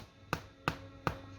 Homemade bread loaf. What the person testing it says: that's got a thud to it